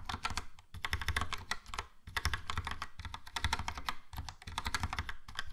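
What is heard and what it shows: A Logitech POP Keys plastic mechanical keyboard, with a yellow plastic case and round plastic keycaps, is typed on with fingertips. Rapid bursts of crisp typing taps pause briefly between runs, with a bright clicky clatter over a solid low thock. Each tap dies away almost instantly.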